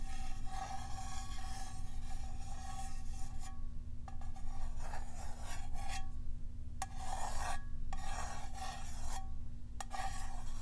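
Long acrylic nails scratch and tap the side of a small clear glass jar with a black lid, filled with white contents. A steady, raspy scratching with a faint ringing tone runs in bursts separated by short pauses and a few sharp clicks, over a constant low hum.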